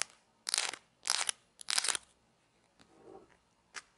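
Small, thin, solid grey plastic play coins marked with numbers are rubbed and clicked together between fingertips with long nails. Three dense bursts of bright, crisp crunchy rattling are followed by a few softer scattered clicks and one last sharp tap. There is almost no low end and no ring after each contact.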